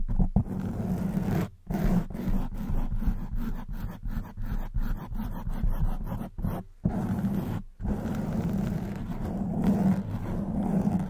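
A black foam microphone windscreen is scratched by long white nails gripping the foam. The result is a dense, low, rumbling scratch that rises and falls in short strokes, broken by a few brief pauses.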